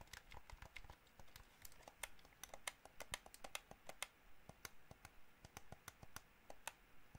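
Fingernails tap the face buttons and shell of a hollow white plastic gamepad, and fingers also tap its triggers. The result is a quiet, irregular stream of quick, dry, bright clicks and taps with almost no ring, over a soft low rumble.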